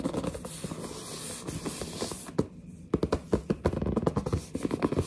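Long nails scratch across the printed front of a large, hollow cardboard headset box, making a steady bright, papery rasp. After a brief lull, sharp taps and scrapes follow, each with a dull, hollow low thump that dies away almost instantly.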